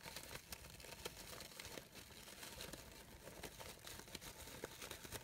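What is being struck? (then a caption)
Layered synthetic organza fabric flower. A light-blue layered organza fabric rose, made of synthetic material, has its petals scratched and rubbed by long nails. The sound is a steady, bright, crinkly rustle with frequent sharp little scratches across the whole clip.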